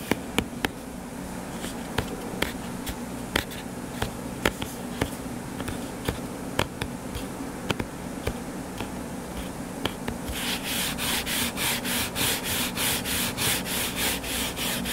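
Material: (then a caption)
Cardboard. Fingertips and nails work on the cover of a closed, solid hardcover book lying flat on a table. For the first ten seconds there are sharp, dry, irregular taps over a low background hum. Then comes a steady, rhythmic run of bright, hissing scratch strokes across the cover.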